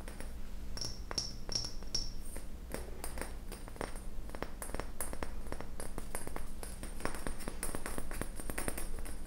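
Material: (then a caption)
Glass. A clear glass volumetric flask with a round hollow bulb, held in one hand, is tapped rapidly on the bulb with fingernails. The result is a fast run of sharp, dry clicks over a steady low hum, with a faint high glassy ring in the first couple of seconds.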